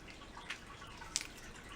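Two short, bright clicks come from the case of an Anastasia Beverly Hills World Traveler eyeshadow palette, a roughly 30-dollar, 12-shadow palette with a mirror and brush. The clicks are thin and high-pitched with almost no ring, over a faint background hiss. The case sounds cheap.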